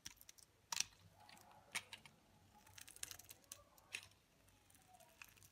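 A utility knife blade scrapes flakes off the face of a solid, dry olive green bar of soap held in the fingers. The sound is a quiet series of crisp, bright scratches and crunchy clicks with very little low end, each cut dying away almost instantly.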